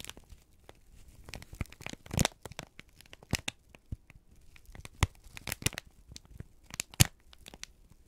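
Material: Paper.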